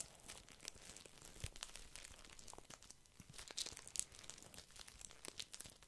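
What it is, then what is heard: Plastic-wrapped tissue pack, crinkling. A small, soft pack of paper tissues wrapped in thin plastic film is held in one hand near the mic while fingertips squeeze and scratch it. The result is a quiet, continuous, bright crinkling full of sharp, dry crackles and ticks that die away instantly, with a few louder crunchy snaps scattered throughout.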